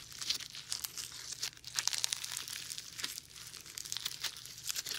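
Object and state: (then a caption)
Foam bead slime being squished. Bare fingers fold, press and stretch foam bead slime in front of a dummy-ear microphone without touching it. The result is a dense, bright crackle of tiny pops and crinkling squelches that rise and fall in quick clusters, with almost no low end.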